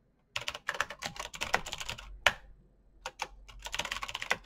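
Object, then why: Mechanical keyboard with plastic keycaps. Fingertips type slowly on a black Razer BlackWidow mechanical keyboard with plastic keycaps on clicky green switches. About 21 bright, crisp clicks come in quick bursts, with a brief pause midway. Each keystroke is sharp and dies away almost instantly.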